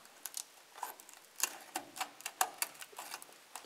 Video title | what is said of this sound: Arceau terminé 👌 partie 2 #r5maxi_replica | ça croustille comme on dit dans le jargon